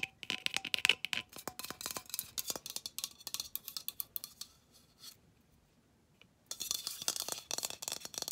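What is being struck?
Aluminium aerosol can.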